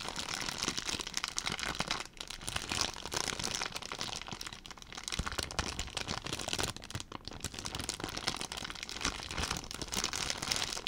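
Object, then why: Thin plastic zip-lock bag. A clear, thin plastic zip-lock bag with a blue zip strip is held in one hand and squeezed and crumpled with the fingers close to the microphone. It gives a continuous, bright, dense crinkling with sharp crackles throughout, with only brief dips in loudness.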